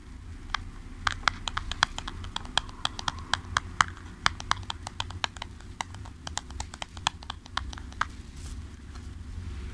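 Fingertips and nails tap rapidly on the sides of a small, hollow, printed cardboard product box held in both hands. The taps come as a quick, irregular run of short, dry, bright clicks with almost no ring. A steady low hum sits underneath throughout.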